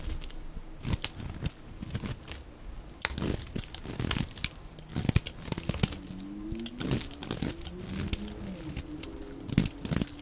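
A dry cream solid soap bar is carved at an angle with a utility blade, sending crumbly shavings off. Dry crunching, scraping cuts and crinkly tearing sounds come in quick irregular bursts, with sharp bright clicks over a low rustle. A faint low tonal hum drifts through the second half.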